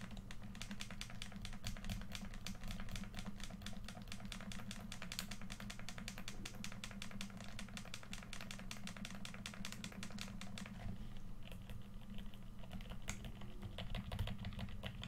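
A hand-sized, hollow red plastic PS4 controller is held in both hands while fingertips rapidly press and click its buttons and sticks. Dense, bright clicking runs over a steady low hum for about eleven seconds, then the clicks thin out into sparser taps.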